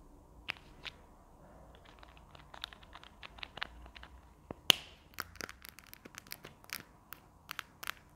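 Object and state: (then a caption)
Plastic marker pen. Long nails tap and scratch along the barrel of a slim, hollow white plastic marker with a purple cap held in the hands. About twelve short, bright, high-pitched clicks sound over a faint scratchy hiss, with one sharper, louder tap partway through.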